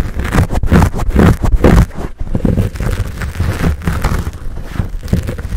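Palms cup and squeeze a fuzzy black foam windscreen on a Blue Yeti microphone while fingertips scratch it. The result is close, muffled, bass-heavy rustling and crunchy scratching in irregular bursts, loudest in the first two seconds, with a brief drop just after two seconds before steadier scratching continues.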